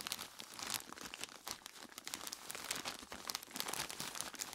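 Dark-gloved hands squeeze and crinkle a large clear plastic bag full of ice cubes. The result is a dense, continuous run of quiet, bright plastic crinkling and crunching, with very little low end.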